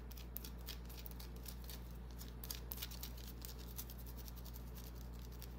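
Long dark-painted nails scratch and tap the surface of a small, solid white oval bar of soap held in the palm. Soft, bright ticks and scratchy clicks come in an uneven patter over a steady low hum, staying quiet throughout.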